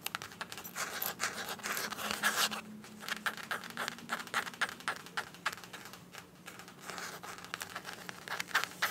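Long acrylic nails scratch and tap across the surface of a small, flat, soft green printed fabric (coated canvas) zip pouch that appears empty. A rapid, irregular stream of dry, bright scratches and light crinkly taps fills the clip, each dying away almost at once, over a faint steady low hum.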